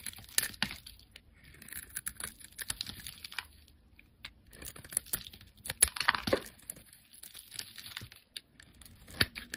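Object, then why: Soap bar shaved with a blade. A solid pale yellow speckled bar of soap is held in the hand and shaved into curls with a utility-knife blade. Quiet, crisp scraping and crackling strokes come in bursts with short pauses between them, bright and dry with almost no low end.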